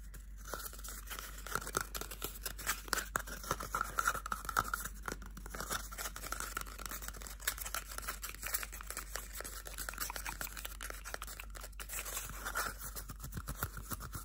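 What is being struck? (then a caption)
Cardboard toilet paper tube. A small, hollow, empty cardboard toilet paper roll held in both bare hands is scratched and tapped with medium-length painted fingernails and fingertips. Dense, rapid, dry scratches and clicks run continuously, each dying away almost instantly. A hollow papery tone sits around 1.2 kHz, with bright, crisp edges.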